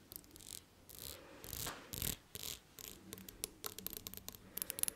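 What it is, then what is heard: Glass perfume bottle. Long nails tap a thick, palm-sized blue textured glass perfume bottle with a silver cap. Soft, hissy swishes come first, followed by a quick, irregular run of sharp, bright clicks with almost no ring.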